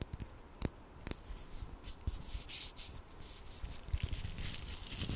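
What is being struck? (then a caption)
Small plastic ladybug toy. A small hollow red plastic ladybug toy with googly eyes is scratched and rubbed with fingernails in both hands. Soft, dry scratching and rubbing is broken by sharp, short clicks and taps. A brighter rasp swells midway through.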